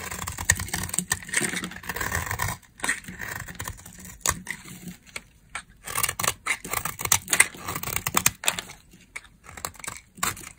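A metal blade scrapes and cuts dry, crumbly shavings from a solid tan, dry brown laundry soap bar held in the hand. There is a steady, bright, crackly scrape for the first couple of seconds, then a series of short, dry scraping and cutting strokes separated by brief pauses.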